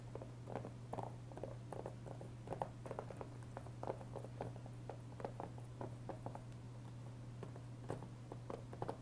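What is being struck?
Thin hard plastic game case.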